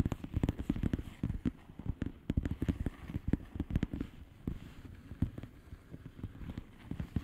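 Long polished nails tap and scratch the bubbles of a flat, hollow plastic bubble-wrap mailer lying on a surface. The result is a rapid, uneven run of short, dull, low taps that die away instantly, with soft scratching between them.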